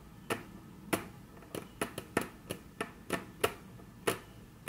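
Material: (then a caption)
Wood. Very long natural nails tap rapidly on a flat, solid, dark brown wood-grain tabletop. Twelve short, crisp clicks sound at an uneven pace, each with a soft low-mid knock under a bright tick and almost no ring before the quiet in between.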